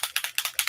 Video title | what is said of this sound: Honey Bee Stamps Live!! | Do you hear that little mixing ball thing in there?